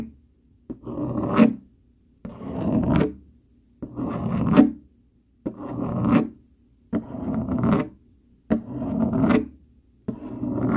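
A dark plastic fork is dragged quickly across a flat brown cardboard sheet, its tines scratching the surface. Seven separate scrapes are heard, each opening with a small tick and then swelling into a dry, raspy scratch before stopping sharply, with short silences between them.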